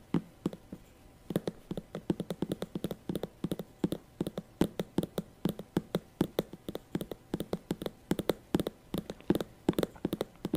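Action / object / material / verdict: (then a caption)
tap / synthetic patent leather handbag / faux leather / none. Long fingernails tap quickly and irregularly on the shiny synthetic surface of a small glossy black patent faux leather handbag with a gold clasp, held beside the mic. The bag is hollow and seems to hold items. The taps are short, dry and hollow-sounding, with a soft low-mid body and almost no ring, in a steady scattered stream.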